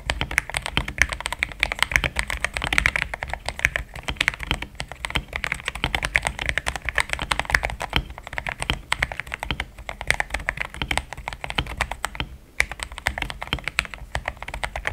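Fingertips type fast on a compact, pink-cased mechanical keyboard with thick cream XDA plastic keycaps that sound solid. A steady, dense stream of short, crisp clacks runs throughout with little ring, bright and strongest in the upper mids, over a faint low hum.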